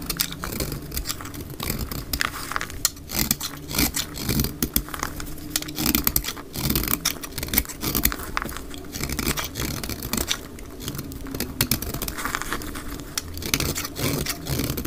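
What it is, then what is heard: Dry bar soap being scraped with a blade. A utility knife blade cuts and shaves a dry, solid green bar of soap held in the hand, with repeated scraping strokes that curl flakes off. The audio is a steady stream of dense, crackly, bright scrapes and quick ticks over a low rumble, with the strokes running close together throughout.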